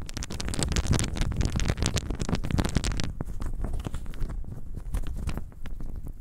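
A handful of small, solid, pale wooden cubes with visible grain is cupped in both hands and shaken so the cubes rattle together. Dense, rapid clicking clatter with a heavy low rumble fills the first three seconds, then thins into sparser, duller knocks with less bright edge.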